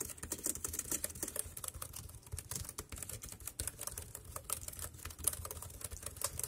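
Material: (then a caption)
Plastic. Fingertips tap fast across the round keys of a dark grey plastic wireless keyboard. A quiet, steady stream of short, dry, bright clicks runs throughout, each with a soft low thump beneath it and almost no ring.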